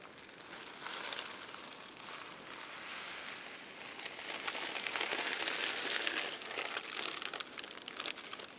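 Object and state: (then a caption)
Tissue paper crinkling. Fingertips and nails press, lift and crinkle the layers of a stack of thin purple tissue paper sheets resting on a table. The result is a steady, bright, papery crinkling and rustling with no low end, rising in intensity midway and dotted with sharp crackles toward the end.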